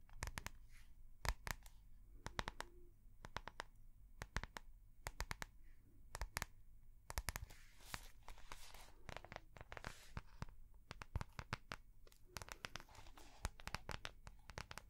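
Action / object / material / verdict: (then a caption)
tap / soft plastic notebook cover / soft plastic / none. Long painted nails tap and scratch the clear soft plastic cover of a small binder notebook with a snap button. Rapid, irregular sharp clicks are broken up by bright, crinkly scratching strokes. A steady low hum sits underneath at a quiet overall level.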